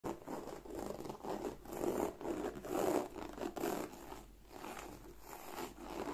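Fingertips and long nails scratch and rub across the textured flap and body of a large, black, glossy croc-embossed leather handbag, likely faux, held upright. The result is a soft, dry, continuous scratching that swells and fades irregularly, centered in the mid-range with a faint airy hiss above.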